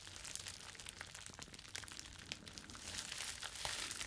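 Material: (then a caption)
Plastic. Flexible clear plastic bubble wrap is held in both hands and folded and crumpled with the fingers. It produces a steady, bright crinkling with scattered sharp crackles and a faint low rumble underneath, growing slightly fuller and louder toward the end.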